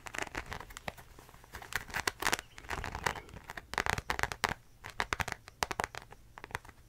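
A beige croc-embossed faux leather zip wallet is held up while long nails scratch and tap its embossed surface. The result is a dense run of quick, dry crinkling scratches and clicks with bright crackle and a faint tonal ring near 2 kHz.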